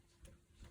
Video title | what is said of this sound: How i clean and store my shaving brushes. 🤘😃🤘 | i flick it several times so i can hear that the water is away from that brush almost dry right now